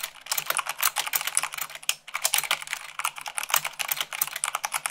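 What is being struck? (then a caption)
Plastic mechanical keyboard keys. Fingertips with long pink nails type fast on a full-size mechanical keyboard with white plastic keycaps on a black frame. It makes a dense, bright stream of sharp, clicky keystrokes with a brief pause near the middle.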